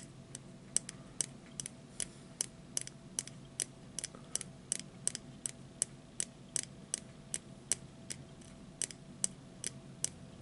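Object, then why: Plastic disposable lighter with metal hood. A small, hollow plastic disposable lighter with a red base and a metal hood is held upright and tapped repeatedly with fingertips and short nails. About 30 sharp, bright ticks come at a quick, steady pace, each dying away almost instantly. A faint, steady hiss runs underneath.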